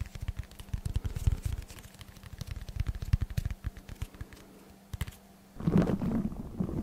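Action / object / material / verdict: tap / dense foam block / foam / none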